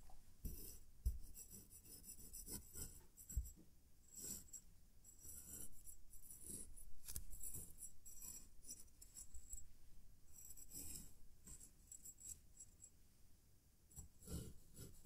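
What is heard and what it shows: A metal knife blade repeatedly slices and scrapes through a fist-sized, solid mound of yellow kinetic sand on a green mat, held steady by one hand, while a separate green sand pile nearby stays untouched. The sound is quiet, soft, gritty rasping and crunching that is mostly low and dull, with brief, bright, hissy edges on each cut.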